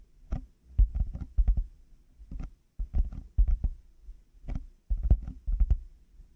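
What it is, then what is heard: Plastic headphone earcups. Fingertips and nails tap the hollow plastic earcup shells of black over-ear headphones fitted on a 3Dio mic. The result is clusters of quick, deep, hollow thumps centered around 60 Hz that die away almost instantly, with thin, bright clicks from the nails. Short quiet gaps fall between the bursts of tapping.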